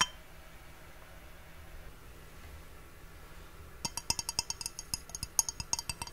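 An empty, hollow clear glass mug with a handle is held in both hands and tapped with fingernails and fingertips. After nearly four seconds of faint low hum, about nineteen quick, bright, high clinks ring out, each dying away almost instantly.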